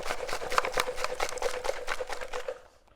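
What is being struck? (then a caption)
Steel motorcycle gas tank with loose nuts and bolts inside. An original steel gas tank from a 1974 Honda XL70 motorcycle is shaken, and the nuts and bolts placed inside to clean it out rattle against its walls. About 15 quick, irregular metallic clinks are heard before the sound fades out near the end.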